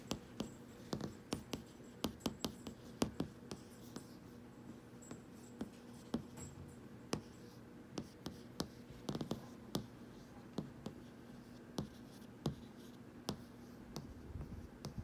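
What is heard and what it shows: Fingertips and short nails tap and scratch across the solid, flat, glossy glass screen of a large TV or monitor showing a profile-selection menu. Quick, sharp, dry taps come in an uneven rhythm, with faint scratching between them. A low, steady hum sits underneath.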